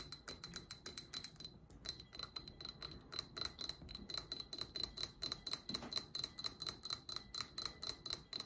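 Long acrylic nails tap and scratch around the outer wall of a small cylindrical glass candle jar with an amber-gold metallic finish and candle wax inside, held up in both hands. Quick, unevenly spaced clicks with a bright, glassy high-pitched ring go on steadily under soft scratching. The sound is quiet, and each tap dies away almost instantly.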